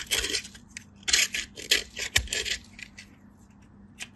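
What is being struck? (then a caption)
Soap bar on a stainless-steel box grater. A solid pale piece of soap, held by fingertips with light-blue nails, is grated on a stainless-steel box grater in repeated scraping strokes. Each stroke gives a short, bright, rasping burst with a quick fade and gaps of near-silence between them.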